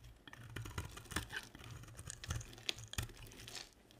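A box-cutter blade carves and scrapes flakes off the end of a solid, dry, hand-sized pink and white striped bar of soap. The result is a quiet run of crisp scratching and crunchy crackles, with bright flaking ticks over a soft low rumble. Each cut stops dead with no ring.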